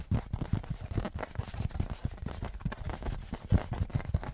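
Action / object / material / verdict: tap / thin aluminum license plate / aluminum / none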